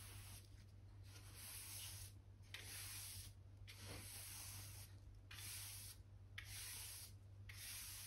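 A soft-bristle hand brush, held in the fingers, sweeps back and forth over a solid oak plank floor near the wall, brushing dirt and dust from between the planks. Each stroke makes a bright, breathy scratching hiss, separated by short pauses, over a steady low hum.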